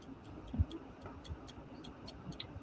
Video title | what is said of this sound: I Am Building A Finger Nail | I tap them. And if they tap back, you can hear it. Then it's done.